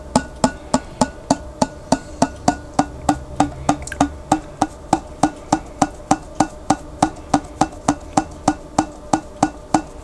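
Fingertips tap and drum on the flat white printed lid of a large glass pickle jar that is held sideways and partly filled with water. About 35 short, dry, hollow knocks come at a steady pace of roughly three per second, each with a woody midrange tone near 770 Hz and a bright click. The knocks die away almost instantly over a faint low background rumble.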